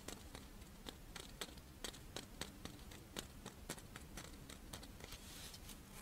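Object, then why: Rice wafer monaka (crisp wafer shell). Long nails tap and scratch a dry, pink, fish-shaped strawberry rice wafer monaka held in the hands. It makes a quiet, quick series of sharp, crisp clicks with bright, papery crackle that stop instantly. A faint low hum sits underneath.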